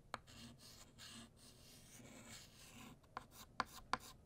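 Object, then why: Chalk on a slate-type chalkboard. White chalk is drawn across a flat black chalkboard, thickening the letters of "Happy" and "New." Soft, dry, scratchy strokes rasp along for about three seconds. They are bracketed by five sharp, bright taps: one at the start and four in quick succession at the end.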